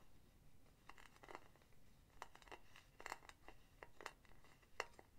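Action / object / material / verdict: tap / metal mesh pen holder with solid base / metal / none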